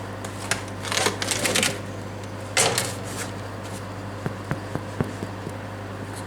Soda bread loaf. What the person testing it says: you know it's ready when you get a hollow sound when you tap its bottom and sides